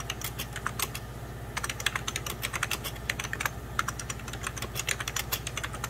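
Fingertips of both hands type on a hollow, beige 1990s Packard Bell plastic computer keyboard, producing rapid, bright, sharp key taps and clicks with very short decay. The tapping comes in quick bursts with brief pauses near 1 and 3.5 seconds, over a steady low hum.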